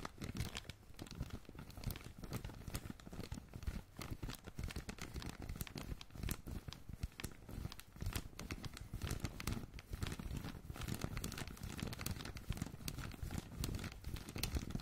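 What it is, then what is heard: Crumpled plastic bag bundle. A crumpled bundle of thin blue, red and black plastic film is held close, and its red part is squeezed and crinkled by hand. The result is dense, continuous crinkling and tearing-like crackles with brief sharp snaps throughout, over a heavy low rumble.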